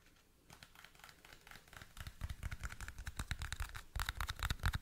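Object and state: Clear plastic toothpick case.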